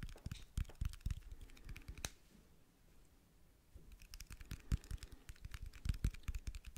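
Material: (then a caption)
Metal. A small battery is tapped in quick, dry, clicking bursts that sound a bit like typing. The taps pause for about a second and a half in the middle, then resume.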